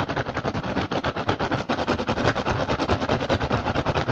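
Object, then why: Woven rattan basket. Fingertips quickly scratch and tap the surface of a hollow woven rattan basket with a pink and green weave. About 28 rapid, evenly paced taps run together with dry, crackly scratching, giving a busy, rustling texture that is strongest in the mid range. Each tap dies away almost instantly.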